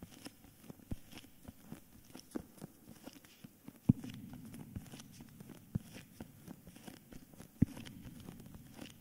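A solid hardcover book in a cream paper dust jacket is held upright in both hands while fingertips and nails tap and scratch its front cover and spine. Quiet, dull, low-pitched taps come at an irregular pace over a soft, papery scratching rustle. Each tap dies out at once, with a few slightly louder knocks standing out.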